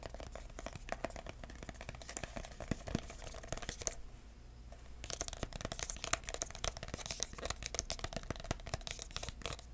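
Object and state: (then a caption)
Cardboard box. A small, hollow red printed cardboard box with a white label is held in the hand and tapped and scratched with the fingertips, without nails. Rapid, dry, papery taps and scratchy rustling fill the clip, with a quieter stretch of light scratching around the middle before the brisk tapping resumes.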